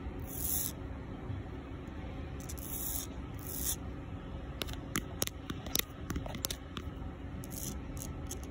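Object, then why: Concrete sidewalk scratched with fingernails. Fingertips and long pink nails rub and scratch a solid, rough concrete sidewalk, first as a few soft, hissy rubbing sweeps, then as a run of sharp, bright scratchy ticks in the second half. A steady low rumble sits under it all.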